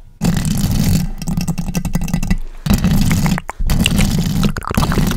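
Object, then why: Metal mesh microphone grille. Long decorated acrylic nails rapidly scratch across the round metal mesh grille on top of a large pink microphone. The scraping comes through as a dense, heavy low rumble with fast gritty texture, pausing briefly twice before resuming.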